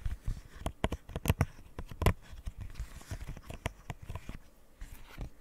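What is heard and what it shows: Fingernails tap and scratch across the hollow bubbles and edge of a rainbow square silicone pop-it fidget toy. The result is a quick run of short, dull, low-heavy taps mixed with soft scratchy rustling, each tap dying away almost at once.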